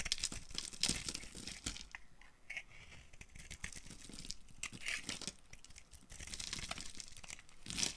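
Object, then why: Bar of soap carved with a knife blade. A dry, solid green-and-white marbled bar of soap held in the hand is carved with the blade of a green-handled utility knife. The result is a run of crisp, bright scraping and flaking sounds, with short rasping strokes that rise and fall in loudness.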